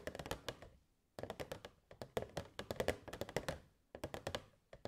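Long nails tap the sides of a hollow, transparent plastic box with fairy lights inside. Quick bursts of dry, clicky taps with a hollow midrange tone come in clusters separated by brief pauses. Each tap dies away almost at once.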